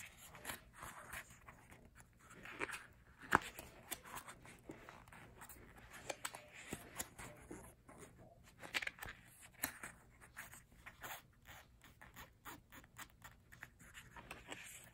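Fingertips tap and rub across the printed photo pages of an open glossy paper photobook album with a thick page stack. The result is a quiet stream of soft, dry taps with short, crisp clicks and brushing rustles over a faint low hum, with a few sharper taps standing out.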